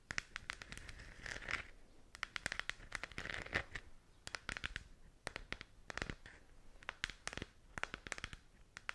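Long nails scratch and tap the textured shell of a hollow plastic galaxy moon lamp held in both hands. Dozens of quick, dry clicks and crackly scrapes come in bursts over a bright, papery rasp centered near 2 kHz. Each tick stops instantly with no ring.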